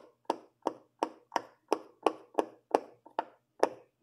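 A hand presses and pops the hollow bubbles on the teal and blue section of a large silicone pop-it fidget toy. About ten soft, hollow pops sound at a steady pace, each a short, dull snap with a mid-range body and a brief bright edge. A faint low hum sits underneath.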